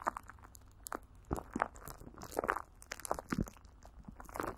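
Greasy fingers and a palm rub and pat clear plastic film coated with Vaseline, stretched over a hollow microphone grille. The result is a run of close, sticky crinkles and crunchy pats with soft low thumps. Short rubbing swishes fill the gaps between them.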